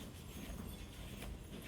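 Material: Nothing is struck.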